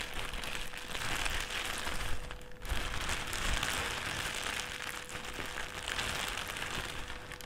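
A thin white plastic trash bag is crumpled, then stretched out and rolled on a table with both hands. It makes a continuous dense crackling crinkle with bright hiss and a low rumble beneath, plus a faint steady tone near 500 Hz, with a brief quieter pause around the middle.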